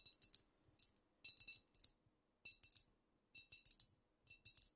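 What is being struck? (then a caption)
Filled glass bottle. Long nails tap the shoulders and sides of a squat amber glass cognac bottle with a paper label, apparently filled. Quick clusters of bright, high, clicky glass ticks come with short quiet gaps between them, each tap dying away almost at once with little low body.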